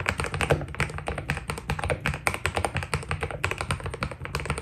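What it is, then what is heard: Mechanical keyboard with PBT plastic keycaps. A white Keydous NJ80 mechanical keyboard with PBT plastic keycaps is typed on steadily with the fingertips of both hands. A rapid, continuous stream of short, crisp clacks with quick decay sits over a low hum.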